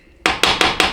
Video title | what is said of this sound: Chrysler Jeep A904 (A998) Rebuild PT2: Final Assembly | You hear that flat sound? It's not like a hollow thwunk, it's more of a flat, just, you know, like, I don't know, one solid object hitting another.